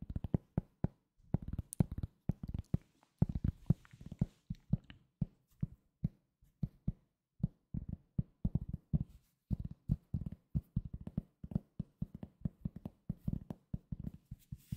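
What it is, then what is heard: Cork coaster tapped. A solid, round, flat cork coaster about 20 cm across is held in one hand and tapped and scratched with the fingertips. Many quick, dull, low thuds with almost no ring come in irregular bursts, with faint scratchy rustles between them. The sound stays quiet and muted throughout.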